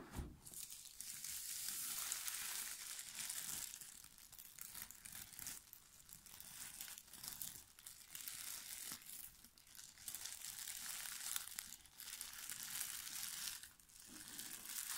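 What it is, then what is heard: Plastic shrink wrap being crumpled. Thin clear plastic shrink wrap, torn off an UNLOCK! board game box, is crumpled into a ball between the fingertips of both hands. The result is a dense, continuous crinkling and crackling, almost all bright and high with very little low end. It swells and dips in irregular waves over the whole clip.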